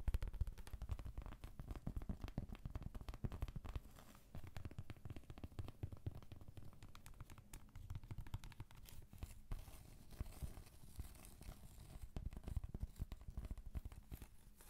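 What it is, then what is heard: Cork trivet. A large, thin, solid round cork board or trivet is held up in the hand and scratched and tapped with long pointed acrylic nails. The result is a dense, continuous stream of quick, dry scratches and soft taps with a muffled low body and almost no high or bright content. The strokes die away almost instantly.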